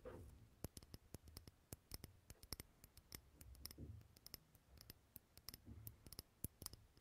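Fingernails tap and scratch the sides of a glass jar candle, a small clear glass jar filled with solid green wax. Many sharp, bright clicks ring briefly over a soft, low scratching rustle.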